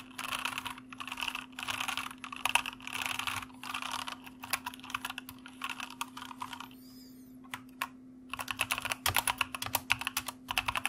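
Fingertips type continuously across a white plastic mechanical keyboard with hollow keycaps, hands shifting over the board with a foam wrist rest in front. Bursts of rapid, bright clacky keystrokes with a dense, crisp top end and quick dry decay come in waves, broken by a brief quiet gap near the middle. A steady low hum runs underneath throughout.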